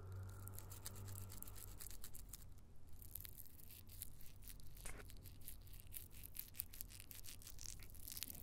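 Long painted nails scratch and rub the dry papery skin of a whole, solid raw brown onion held close to the microphone. Soft, dense, bright crackling and scratching run continuously over a steady low hum, with no clearly separate hits.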